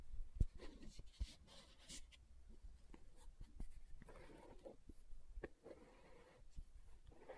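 Long nails scratch and tap the lid and side of a green plastic aloe gel tub. Quiet, dry scraping strokes are broken up by short, sharp taps that die away almost at once.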